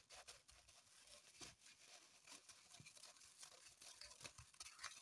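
Long pointed nails scratch and dig at a dark green floral foam block in a thin plastic wrapper resting on a table. The sound is a quiet, bright crinkling and scratching made of rapid, dry bursts with almost no low end and very short decay.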